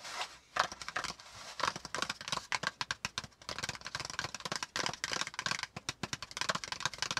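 Fingertips of both hands tap rapidly on a flat brown kraft cardboard folder with a hollow folded insert underneath, lying on a notebook. The taps are quick, dry and papery with a bright, crackly edge, almost no low end and virtually no ring, forming a dense, uneven flurry across the clip.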